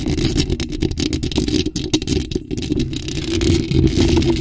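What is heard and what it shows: Long acrylic nails rapidly tap and scratch a bare, hollow black metal mesh microphone grille. The result is a dense, continuous stream of low, boomy thuds and rumbling, with rasping scratches layered on top.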